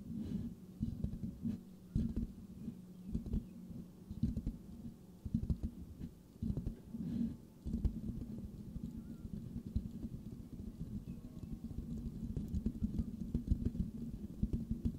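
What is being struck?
Metal mesh microphone grille.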